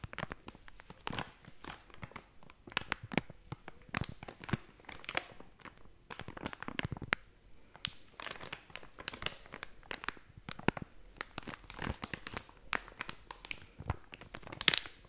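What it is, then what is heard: Plastic snack bag. A blue and yellow plastic/foil snack bag is shaken and crumpled with fingers. Dense, bright crinkling and crunching bursts come in quick irregular clusters, with a few sharper, louder crackles toward the end.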